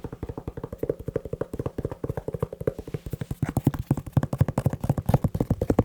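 Fingertips tap quickly on a leather shoe, giving a rapid, slightly uneven run of dull, low-pitched taps that each stop almost instantly. The taps grow louder and more forceful partway through.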